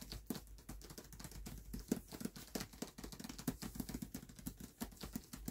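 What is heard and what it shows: Fingertips patter and tap rapidly across the paper dust jacket of a closed hardcover book resting on a black cloth. The result is a quiet, dense stream of soft, dry taps with dull low thumps and papery brushing, each stopping almost instantly without ringing.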